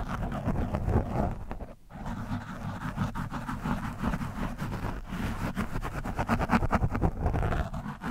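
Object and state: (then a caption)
Foam microphone windscreen scratched. The thin metal shaft of a handheld screwdriver scratches and pokes an orange foam windscreen, soft and porous, on a black microphone. The result is a dense, muffled rumble of quick, irregular scraping and thumping strokes, heavy in the low end with almost no bright top. It drops out briefly just before the two-second mark, then continues unevenly to the end.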